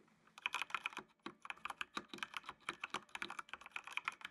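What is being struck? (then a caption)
Plastic mechanical computer keyboard. Fingertips type on a full-size black plastic mechanical computer keyboard with RGB backlight. After a brief quiet start, a quick, uneven run of crisp, bright plastic clacks follows, each dry and short with almost no low end.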